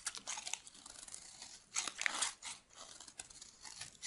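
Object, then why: Bar of soap shaved with a metal knife. A metal knife blade shaves a solid, white, oval bar of dry soap held in the hand. It makes quiet, bright, crunchy scraping strokes with a crisp crinkling texture and no low end. Several louder scrapes rise and fade through the clip.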